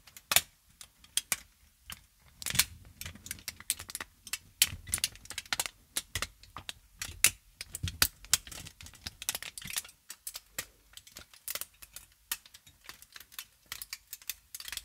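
A folded and crumpled aluminium foil sheet, held upright in both hands, is crinkled and scratched with long nails. The result is a dense run of sharp, bright crackles and scratchy clicks, with little low end. The bursts come in irregular clusters across the clip.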